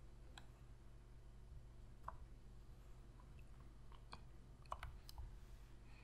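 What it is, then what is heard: Plastic game controller tapped with fingernails. Long fingernails click the buttons and tap the body of a black, hollow plastic PlayStation controller. Sharp, bright clicks and taps come at irregular intervals over a low, steady hum. Each sound is dry and dies away almost at once.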